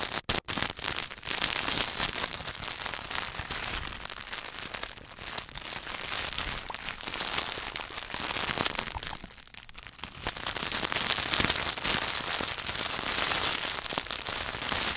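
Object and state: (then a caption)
Wrapped chocolate bar. Fingertips and nails rapidly tap and scratch on the paper and foil wrapper of a solid Hershey's milk chocolate bar. The result is a dense, bright, crinkly crackling with little low end that runs almost continuously, with two brief gaps near the start and a softer stretch in the middle.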